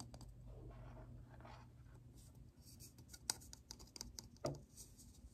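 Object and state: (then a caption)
Plastic lid tapped. Fingertips tap the flat surface of a hollow, round black plastic lid with a ridged rim, and the lid is turned to show the rim. The taps are soft, dull clicks, sparse and irregular over a low background hum, with a few sharper knocks near the end.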